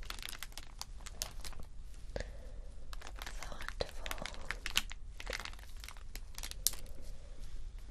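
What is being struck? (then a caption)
Acrylic rhinestone sticker strip on clear backing. A long strip of small acrylic rhinestones on a clear plastic backing, lying on fabric, is scratched with fingernails. The result is a dense run of crinkly, scratchy rustling dotted with sharp, bright little clicks and ticks, over a faint low rumble.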